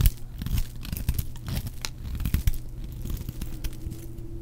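A metal blade shaves and cuts a solid, palm-sized, white oval bar of dry soap, and crumbly white flakes come off. Dry, crunchy scraping and crackling repeat throughout, heavy in the low end with brief bright ticks. Each cut stops short with almost no ring.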